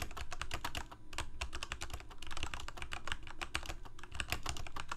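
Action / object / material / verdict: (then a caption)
tap / plastic mechanical keyboard / plastic / none. Fingertips of both hands type continuously on a full-size black plastic Corsair K68 gaming keyboard with backlit keycaps, Cherry MX Red switches and a hollow plastic case. The result is a rapid, steady stream of short, crisp key clacks with a deep, hollow low-end thump under each stroke and bright tips, each dying away almost instantly.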